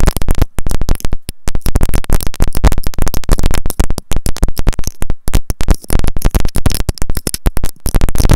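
Long nails tap rapidly on a white plastic earphone inline remote and mic with a looped cable. The contact with the mic produces dense, booming low thumps with short, quick decay and little high content. The taps come in irregular rapid bursts throughout.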